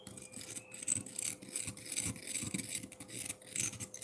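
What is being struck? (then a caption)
Frozen milk ice block. A metal fork scrapes fast across a solid frozen milk ice block with crushed ice around its base, making a rapid run of bright, gritty scratches and crunches. A faint steady tone sits underneath the quick, dry strokes.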